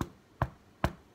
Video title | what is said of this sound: recette du pain cocotte sans pétrissage | si vous entendez que ça sonne creux, c'est qu'il est cuit